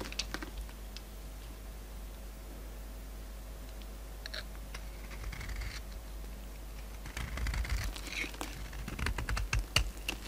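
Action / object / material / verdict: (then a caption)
scrape / soap bar shaved with a metal blade / soap / none. A palm-sized, solid oval soap bar with a glittery magenta coating over a white core is held in one hand and shaved with a metal utility-knife blade with a pink handle, peeling off the coated layer so flakes fall onto a wooden surface. Soft, irregular crisp scrapes and ticks sit over a steady low hum, growing louder and denser in the last few seconds.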